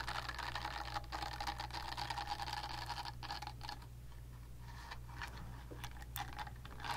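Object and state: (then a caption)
Silicone facial cleansing brush. Long nails tap and scratch the smooth back of a pink silicone facial cleansing brush pad held upright. Quiet, rapid, irregular tapping and rustling scratches come through over a steady low hum, with brighter clicks standing out now and then.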